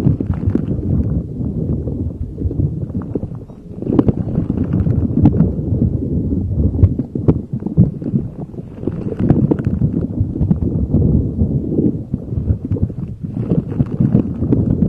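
A neon green soft rubber spiky puffer ball is rubbed and squeezed with fingers over a microphone. The result is a steady, dense stream of muffled low rubbing and soft crackly bumps. The sound sits mostly in the low range, with short, quickly fading taps mixed into the friction.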